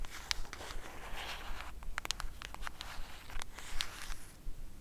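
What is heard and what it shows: Long acrylic nails scratch and tap along the edge of a flat black cardboard Batman eyeshadow palette held edge-on. The result is a quick, irregular series of short, dry clicks and bright scratches over a steady low background hum.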